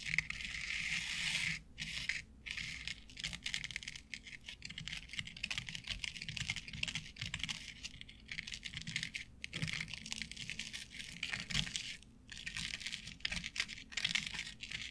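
Long acrylic nails tap and scratch the fibers of a flat board covered in short synthetic turf. The result is a dense, bright, crackling stream of quick clicks and rustling scrapes, mostly high-pitched, with brief gaps of silence scattered throughout.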